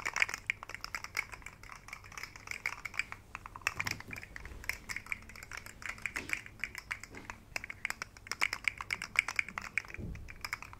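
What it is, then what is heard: Plastic articulated fidget slug toy. A rainbow segmented plastic articulated fidget slug toy is dangled, shaken and flexed by fingertips. Its segments give a rapid, irregular stream of dense, bright plastic clicks that stays steady throughout, with faint low rumbles underneath.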